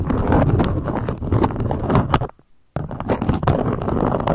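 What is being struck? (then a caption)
Beeswax-coated cotton wrap. A beeswax-coated cotton food wrap, draped into a peak, is tapped and scratched with long nail tips on its stiff waxed fabric. Dense crinkling, tapping and scratching sounds fill the clip, broken by a brief near-silent pause in the middle before they resume.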